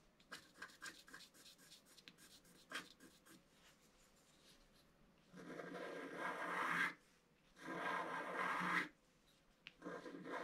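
A wooden stylus scratches the right-hand and lower petals of a design on a flat, black-coated scratch-art card. It begins with a quick, irregular run of short, light scratches, then two long, louder and steadier scraping strokes with a bright, gritty hiss. A few faint ticks close the clip.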